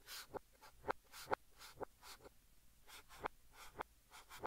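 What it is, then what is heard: Chalk writing on a chalkboard. Fingertips hold a blue chalk stick and write Korean text on a large, flat green chalkboard, scratching it across the surface. Soft, bright scratchy strokes alternate with seven short, sharp taps of the chalk against the board at an uneven pace, all at a quiet level.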